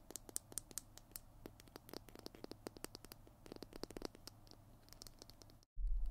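Fingernails tap and scratch the surface of a Tombow PiT glue stick, a small hollow plastic tube with a blue cap, held in both hands in front of the mic. Dense, quick, dry clicks and scratches sound over a low steady hum. Near the end there is a brief silence, then a louder low rumble.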